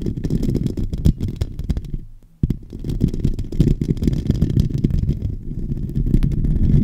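Fingertips and nails of both hands scratch continuously over the hollow metal mesh dome grille of a silver microphone. The result is a dense, low, rumbling crackle with many quick scrapes. It drops almost to silence for a moment just past two seconds, then resumes at full level.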